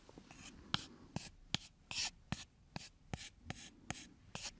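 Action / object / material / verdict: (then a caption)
scrape / thin wooden stick / wood / none. A thin, solid, brownish wooden strip held in one hand is scratched along its length with the fingernails. About ten short, bright scratching strokes are heard, each starting with a sharp tick and trailing into a dry, hissy rasp. The strokes come at an uneven pace and stay quiet throughout.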